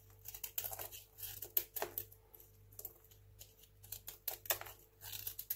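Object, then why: Small bar of soap cut with a knife. A craft knife slices crunchy shavings off a small, solid, dry white hotel soap bar held in the hand. Irregular bursts of crisp, bright scraping crunches come with short pauses between cuts, over a faint steady low hum.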